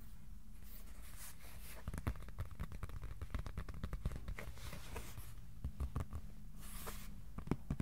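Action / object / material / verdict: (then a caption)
tap / flat cardboard sheet / cardboard / none. Fingertips tap rapidly on a flat white cardboard board tilted in the hands, producing a quick run of soft, dry clicks with almost no ring, some brushing faint high hiss. A steady low hum sits beneath the taps throughout.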